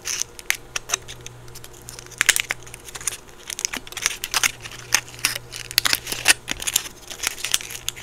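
A small round chocolate in a crinkly gold foil wrapper is held in both hands while fingertips and nails crinkle and scratch the foil. Bright, crisp crackles and sharp snaps come in quick irregular bursts over a faint steady low hum.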